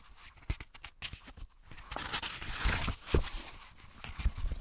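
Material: Paper.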